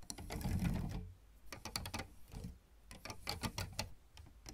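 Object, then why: Plastic piano keyboard keys. Long red nails and fingertips of both hands tap rapidly on solid black and white plastic piano keyboard keys. A dense, low-heavy clatter in the first second gives way to sharp, separated clicks with bright edges that die away almost instantly.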